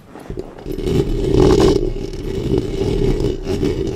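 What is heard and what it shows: Long painted nails scratch and rub the hollow metal mesh grille head of a black Blue Yeti-style studio microphone with both hands. A dense, continuous scraping and rubbing swells within the first second and holds steady, with a strong low-mid drone and muffled, bassy rumble and little high brightness.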